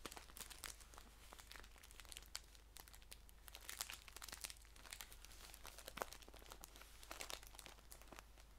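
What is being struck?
Paper tea pouch.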